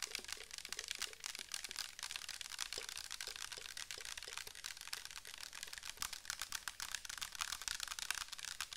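Long nails tap rapidly on the sides and bottom of a clear plastic bottle filled with orange liquid. The steady stream of quick, dry clicks sounds crisp and bright, with faint hollow knocks underneath. Each tap dies away almost instantly.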